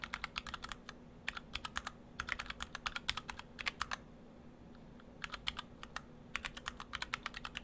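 Fingertips of both hands type on a stock Orthodox Rev3.1 split ortholinear mechanical keyboard in two halves, with clear acrylic cases, white and cyan PBT dye-sub keycaps and Gateron Brown switches. Short, bright, dry keystrokes come in quick bursts separated by brief pauses, over a faint steady low hum.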